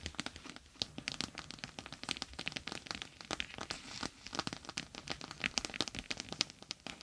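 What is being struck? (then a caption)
Plastic gel bead eye mask. A clear plastic gel bead eye mask with a green fabric rim lies on a microphone while long nails rapidly tap and scratch over its bumpy bead surface. The sound is a dense, irregular stream of bright, crisp clicks and crinkly scratches with very little low end.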